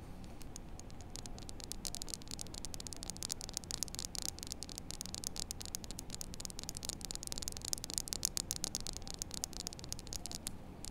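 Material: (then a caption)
Plastic. A small, solid, flat white-and-blue plastic poker chip, held up close in both hands, is scratched and tapped with long acrylic nails. Rapid, dense, bright clicks and scratchy ticks pile up steadily over a low, hissy rumble, each click dying almost instantly.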